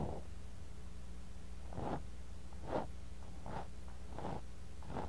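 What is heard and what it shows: A thin bamboo ear pick scrapes and digs into kinetic sand in a clear glass cup, right next to a mini microphone buried in the sand. Soft, gritty scraping bursts recur at an uneven pace over a steady low hum. Each burst is centered in the low-mid range.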